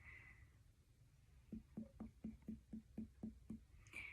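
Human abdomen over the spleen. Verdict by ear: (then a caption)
Dull. Fingers percuss over the spleen at the ninth to eleventh intercostal space in a physical exam, producing nine short, dull, low taps with little ring at a steady pace. The dull sound is normal for a solid organ.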